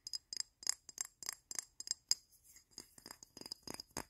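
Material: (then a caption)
Glass. Fingertips and nails rapidly tap and scratch a hand-sized frosted glass perfume bottle with a printed logo, partly filled with yellow liquid. The result is a fast, uneven series of bright, quiet glassy clicks that die almost at once, with softer scratchy brushing between them.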